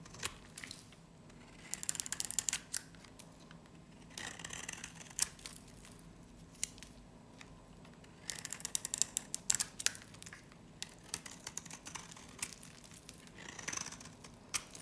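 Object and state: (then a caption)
Dry varnished soap bar being shaved. A metal utility blade scrapes and shaves a small, hand-held bar of dry soap coated in glossy black varnish, peeling the black layer away to reveal cream soap underneath. Bright, crisp scratching and crackling clicks come in bursts, with quiet pauses between strokes and almost no low end.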